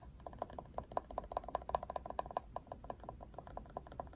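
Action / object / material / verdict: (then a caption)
tap / plastic paddle hairbrush / plastic / none. A Barbie plastic paddle hairbrush, with a hard ridged plastic back and a black "Barbie" handle, is held sideways while fingernails scratch and tap its back and handle. About 25 crisp, short clicks come in an uneven, rattling series with a hollow plastic tone around 700 Hz. Each tap dies away almost instantly over faint scratching.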